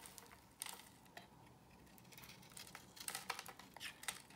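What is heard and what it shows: A box cutter blade cuts into a solid square beige bar of soap held in the hand, scraping off pieces. Quiet, bright, crisp scraping crackles come in irregular bursts, with the sharpest cuts near the start and a denser cluster toward the end. Each scrape dies away almost instantly.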